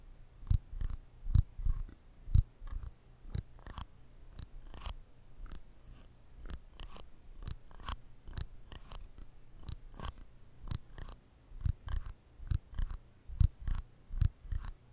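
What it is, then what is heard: Steel nail clippers snapping. Small stainless steel nail clippers are held in the fingers directly over a microphone, and the lever is squeezed again and again to snap the jaws shut. Dozens of sharp, short metal clicks ring out at an uneven pace over 15 seconds, each with a low thump beneath a bright snap that dies away almost instantly.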